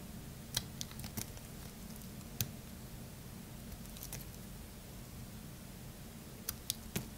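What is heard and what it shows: A metal blade carves slivers off the side of a solid purple Lux bar soap held in hand, producing short, crisp, bright scraping clicks scattered through the clip, clustered near the start and end. A steady low hum sits underneath the quiet cuts.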